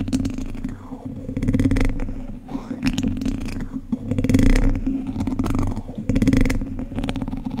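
The tips of two wooden chopsticks scratch and tap across the hollow, domed wire-mesh grille of a large condenser microphone. The result is a close, bass-heavy rumble of scraping with a steady low hum and frequent soft taps. It swells and fades in waves across the clip.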